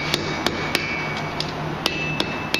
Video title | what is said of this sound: Viking Axe with Dereck Glaser at NESM | tapping these edges down that sounds solid it's not really moving